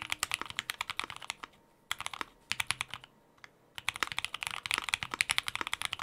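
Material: Plastic.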